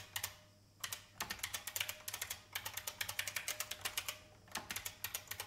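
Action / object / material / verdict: tap / plastic mechanical keyboard / plastic / none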